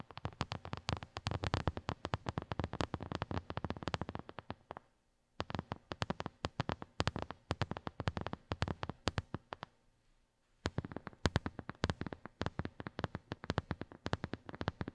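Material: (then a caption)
Silicone. Long nails of both hands rapidly tap and scratch a small white silicone phone case with raised square bumps, a hollow shell lying on carpet. The result is a dense stream of short, dry clicks with a soft low thump and brief high scratchy edges. Two short pauses come near the five- and ten-second marks.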